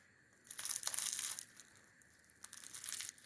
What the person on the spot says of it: تا بتوانید صدای ترد شدن آن را بشنوید